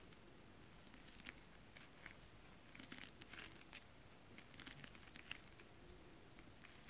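Long decorated acrylic nails on both hands tap across a flat piece of iridescent silver mermaid-scale print stretch fabric (foil-coated spandex) laid on a surface. The result is quiet, irregular patter of short, crisp crinkly taps with bright, high clicks over a low, steady background hiss.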